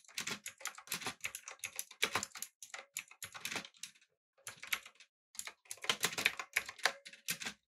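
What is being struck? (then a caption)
Mechanical keyboard with plastic keycaps. Fingertips type on a backlit, typewriter-style mechanical keyboard with round plastic keycaps, producing rapid, bright, clacky key taps that stop almost instantly. The typing comes in quick bursts with brief pauses partway through.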